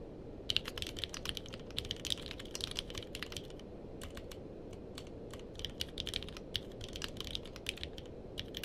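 Two-handed fingertip typing on a purple-cased mechanical keyboard with plastic keycaps produces quick, sharp clicks with a bright ring near 3 kHz that die away almost instantly. The keystrokes come in uneven bursts with brief pauses, over a steady low background hiss.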